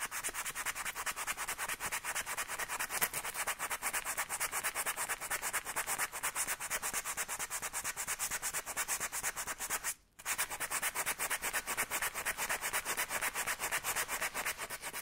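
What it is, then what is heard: Rubber bike inner tube being sanded. A section of a deflated black rubber bike inner tube, lying on a cloth and pinched between the fingers, is scrubbed quickly with sandpaper held under the fingertips to prepare it for patching. The result is a steady run of rapid, bright, scratchy rubbing strokes, about two per second, with almost no low end and a brief silent break near the ten-second mark before the sanding resumes.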